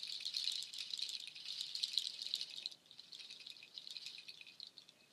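Strands of nut shells on a waterfall shaker are held up, swung and shaken up close, the shells clattering against each other in a dense, bright, dry rattle. The rattling is loudest for the first few seconds, then drops to a quieter, sparser patter of clicks until the end.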